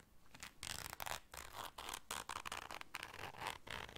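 A small round black fabric zipper case is held in the hands while long dark nails zip it and scratch across it. The result is a series of bright, raspy zipping and scratching bursts with brief pauses between them.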